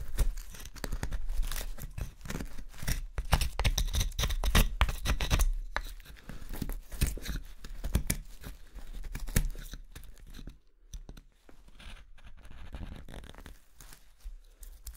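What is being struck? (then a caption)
Wooden spoon, light carving wood. A small steel knife hollows out the bowl of a light carving-wood spoon resting on a table, making rapid, irregular scraping and scooping cuts. The strokes sound like dense, dry shaving and tearing with low, dull thumps through the table. They grow quieter and sparser in the last few seconds.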